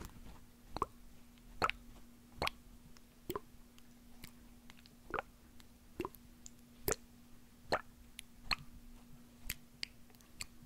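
A small hollow white plastic eye drop bottle with a label and liquid inside is held in one hand and shaken, squeezed and tapped with fingertips and nails close to the microphone. Short, dry plops and clicks with a bright edge repeat at an uneven pace, roughly once every second. A faint steady low hum runs underneath.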